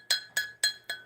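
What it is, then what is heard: Glaze-fired stoneware, fully vitrified with a hard ring. A glaze-fired cone 6 stoneware pot is tapped four times, giving four short, clear, glassy rings with a bright high-pitched tone. The ring shows the piece is fully vitrified, much harder than bisque-fired ware and not porous at all.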